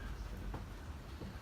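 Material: Nothing is struck.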